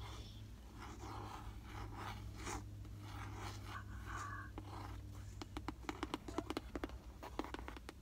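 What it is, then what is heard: Cardboard box tapped with fingertips. A closed, hollow, rectangular white cardboard gift box printed "God's Glory Box" is held up in both hands in a car while fingertips and nails scratch and scrape across it for about five seconds. This is followed by a run of quick, crisp, dry taps with almost no ring, all over a steady low hum.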